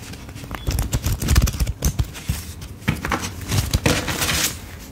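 A thick stack of paper dollar bills is held in both hands while a thumb flips and riffles through the fanned bills. The result is a run of quick, dry papery flicks and crinkles with soft, low thumps underneath. Bright, hissy bursts swell near the end.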